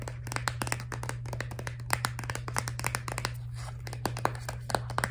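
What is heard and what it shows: A filled, laminated plastic toothpaste tube is turned over, tapped and scratched with long nails. Quick, dry clicks and brief scratches follow one another rapidly over a steady low hum.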